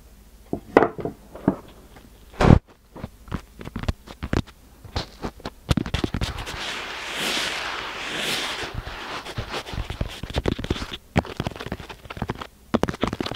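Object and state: Kinetic sand brick.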